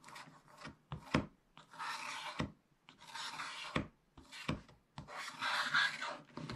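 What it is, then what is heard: Scratch-art paper being scraped. A wooden stylus scratches broad areas on the right side of a black-coated scratch-art page in a spiral-bound book, revealing the colour underneath. Dry, raspy scratching comes in bright bursts, broken by short pauses and a few sharp taps as the stylus meets the page.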